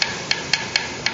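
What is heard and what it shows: Glued stainless steel frets on a Parker Fly guitar are tapped one after another, giving five short, bright metallic ticks that change in tone from fret to fret. Each stays bright and dies almost at once, showing the frets are properly glued down.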